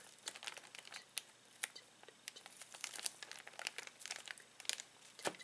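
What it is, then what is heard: Plastic zip bag of toys being crinkled. Fingertips press and rub a clear plastic zip bag filled with plastic toys. The result is a steady run of quiet, sharp, bright crinkles with no low end, each dying away almost instantly.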